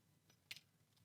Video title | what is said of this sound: Lowes security tag... what's inside? | it's like it feels and sounds like glass but it's got metal properties